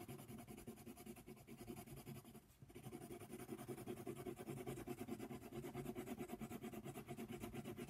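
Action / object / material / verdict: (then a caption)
scrape / colored pencil on a paper page / paper / none. A brown colored pencil fills in a giraffe's horn on a paper coloring book page lying flat, with quick strokes. The lead rubs and scratches steadily across the paper in a fast, rippling rhythm, pausing briefly partway through before resuming.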